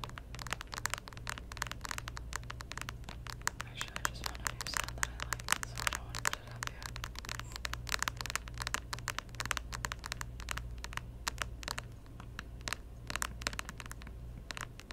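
Long nails of both hands tap rapidly on the glossy plastic edge and lid of a closed, hollow pink plastic Nintendo DS Lite standing on its edge on a table. The result is a steady stream of quick, sharp, bright clicks with no ring, over a constant low hum.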